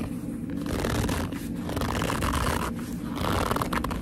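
Long nails and fingertips grip and squeeze the top edge and front of a hollow black leather handbag. They produce a continuous run of squeaky, creaking leather rubs with a dense low rumble underneath, swelling and easing without clear breaks.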